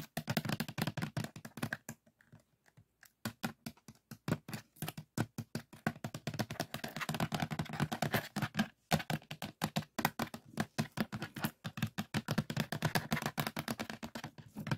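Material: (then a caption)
Plastic. An empty black plastic DVD case lies open, and fingertips and nails tap rapidly on its hollow disc tray near the spindle hub. The result is fast, dry clicking taps with a low hollow body and almost no ring, broken by a few brief pauses.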